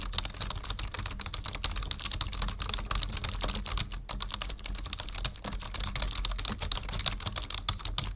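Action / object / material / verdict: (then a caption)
tap / plastic membrane computer keyboard / plastic / none. Fingertips of both hands type steadily on a full-size black plastic membrane computer keyboard resting on a wooden desk. A dense, continuous stream of quick, dry key clicks follows, with a bright clatter on top and soft low thumps underneath as the keys bottom out. Each click dies away almost at once.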